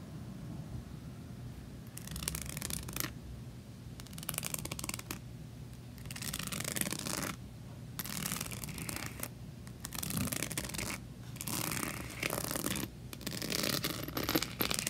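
Long nails scratch and tap across the cover of a closed rainbow diary covered in small plastic rhinestones with a unicorn patch, resting on a table. Bursts of bright, gritty scratching, from about two to two and a half seconds long, alternate with quieter gaps under a low steady hum.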